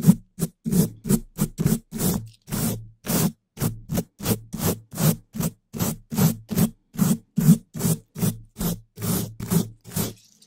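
A gloved hand brushes and scratches the hollow, black metal wire-mesh grille of a large condenser microphone with a long-handled wooden brush with pale bristles. About 27 quick, separate scratching strokes sound in an uneven rhythm, each a short burst with a dull, low thump near 190 Hz and a faint bright bristle hiss. The strokes stop dead with almost no ring.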